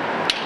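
A pole-type hammering-sound inspection device strikes a concrete bridge member once during a bridge inspection. The tap is bright and sharp, centered near 2.9 kHz, and rings out in about 0.2 seconds over a steady background hiss.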